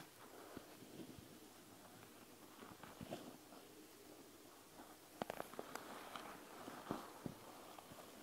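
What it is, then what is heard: Gel bead eye mask tapped and scratched. Long nails on both hands tap and scratch the plastic front of a panda gel bead eye mask filled with gel beads. Soft, quiet scratching and rustling runs throughout, broken by a quick cluster of sharp, bright clicks near the middle and a few more taps toward the end.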